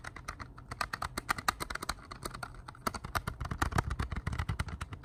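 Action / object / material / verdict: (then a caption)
tap / plastic CD case / plastic / none. Plastic CD cases are tapped at a slow, unhurried pace, producing a steady run of short, crisp clicky taps that stop almost instantly, over a low background rumble. The result is a smooth, pleasant tapping sound rather than fast, chaotic tapping.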